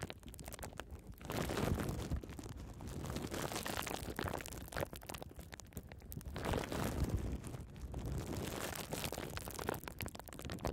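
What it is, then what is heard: Plastic bubble wrap being popped. Small bunched pieces of clear plastic bubble wrap are held close to the microphone while long red nails squeeze and scratch them, popping the bubbles. Dense crinkling and scratching mixes with quick, irregular pops over a deep, rumbling low end, swelling and easing in waves throughout.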